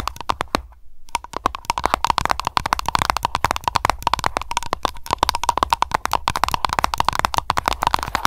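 An aroma candle container is tapped rapidly with long nails, producing a dense run of short, sharp clicks with a light tone around 1 kHz. The clicks are mixed with scratching and lid sounds, and there is a brief pause near the start.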